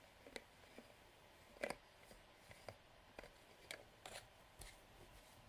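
A medium hollow translucent plastic bottle of Boots conditioning nail polish remover, with liquid inside, has its black plastic screw cap twisted off and back on by the fingertips. The threads scrape in a series of short, crisp clicks and rasps over a quiet background.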